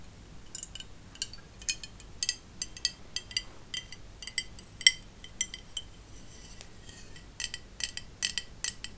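Long acrylic nails tap and scratch a large, hollow, white-painted glass bottle with a wooden stopper. The result is an irregular series of sharp, bright clinks with a ring near 2 kHz that dies almost at once, plus a faint scratching between the taps over a quiet background.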